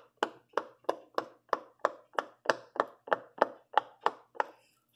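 A fingertip with a purple-painted nail presses the hollow bubbles on the yellow and orange section of a large rainbow silicone pop-it fidget toy. Fourteen short, dry pops come in a steady row, each a quick hollow snap centered in the mids with a bright edge and almost no ring.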